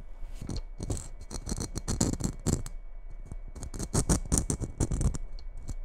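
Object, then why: Glitter-coated Christmas bauble. Long red nails scratch the coarse glitter surface of a hollow red glitter-coated Christmas bauble, held first in the fingers and then in both hands. The result is a continuous run of short, gritty scratching bursts with a bright, hissy crackle on top and soft low thumps underneath.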